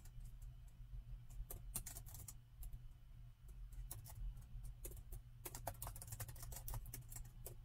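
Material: Plastic.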